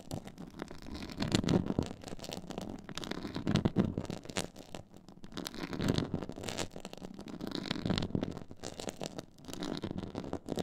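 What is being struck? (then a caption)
Textured faux leather board. Long nails scratch across a black, stitched, pyramid-textured faux leather board. The result is a dry, crackling rasp, mostly low and warm with faint bright ticks, that swells and fades in repeated strokes about every two seconds.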